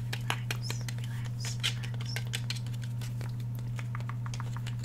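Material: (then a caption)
Polymer, steel. Fingernails tap and scratch along the steel slide and polymer frame of a black Glock 17 pistol held upright in one hand. Quick, light, bright clicks and scrapes patter irregularly over a steady low hum.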